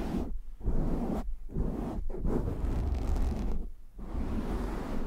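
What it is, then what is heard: Foam microphone windscreen being scratched. Hands cup a black foam windscreen on a microphone while fingertips scratch it, producing muffled, low, rumbling bursts that sound like buffeting wind. The rough scratching swells and drops in repeated waves, with brief quiet gaps between them.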